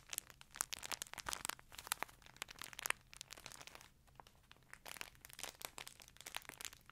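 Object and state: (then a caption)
Plastic chip bag. A green printed plastic chip bag held near a fluffy microphone is crinkled and squeezed by hands and scratched with long nails. Dense, bright crinkling and crackling comes in quick bursts, with a brief quieter stretch partway through before the crinkling picks up again.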